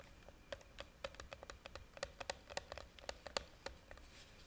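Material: Plastic.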